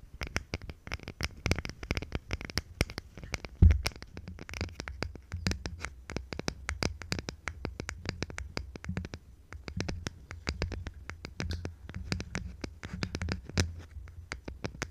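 Long nails scratch quickly across the flat face of a small, palm-sized plywood box with slots, likely hollow and held in both hands. The result is a dense run of short, dry, bright clicks and scrapes over a steady low rumble, with one louder knock near the four-second mark.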